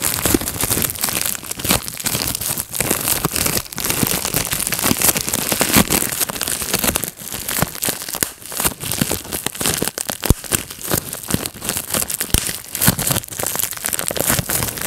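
A clear plastic bubble wrap sheet rests on a lap while thumbs and fingertips pinch and pop its bubbles. The result is a dense, continuous run of sharp snapping pops over a steady crinkling of plastic.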